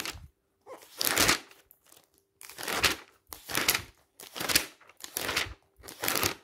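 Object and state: Glossy paper magazine.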